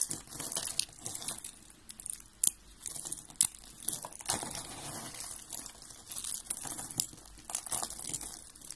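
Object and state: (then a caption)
Dry soap flakes being crushed. Fingers with red-painted nails crush and rub white and blue dry soap flakes. Dry, crisp crunching and crinkling come in uneven bursts with a few sharper snaps, mostly bright and high with very little low end. Each crunch dies away at once, with quiet rustling between bursts.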